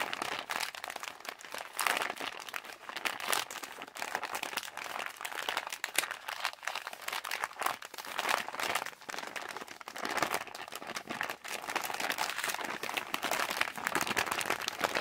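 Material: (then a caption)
Plastic. A yellow Halls plastic cough drop bag, hand-sized with contents inside, is held in both hands while the fingers rapidly crumple and squeeze the plastic. The result is a continuous, dense crinkling and crackling that is bright and crisp, centered around 2 kHz with almost no low end, made of many short snaps that die away almost instantly.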